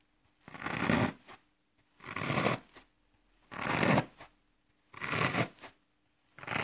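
Fingertips press a series of holes into the face of a flat, solid green floral foam block resting on grass, crushing the brittle foam. Each press makes a dry, gritty crunching crackle lasting about half a second, followed by a brief smaller crackle. Four presses come at a steady, unhurried pace, a fifth begins at the end, and a faint steady low hum runs underneath.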